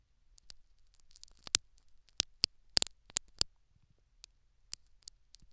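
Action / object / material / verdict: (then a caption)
scrape / foam plug in a silicone dummy ear, prodded and scratched by a metal needle / foam, silicone / none. A metal syringe needle repeatedly scratches and prods a foam plug in the canal of a silicone dummy ear fitted with a microphone. About ten sharp, bright, dry clicks and crackles stand out over a faint rustling scratch, and each dies away almost instantly. The sound is quiet overall, with almost nothing in the low end.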